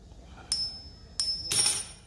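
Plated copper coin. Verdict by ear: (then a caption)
Fake. Heirloom "silver dollar" coins, which are actually silver-plated copper, are struck against each other three times. Each strike gives a bright, high-pitched metallic ring that fades quickly. The floating ring marks them as fake rather than real silver.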